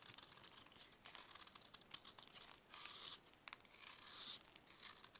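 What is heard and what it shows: A metal knife scrapes and carves flakes from a larger solid grey pressed baking soda block, held in a purple-gloved hand, onto a brown surface. Quiet, dry, crisp scratching dominated by bright high tones comes in a quick run of short strokes. Two longer sustained scrapes follow near the middle and toward the end.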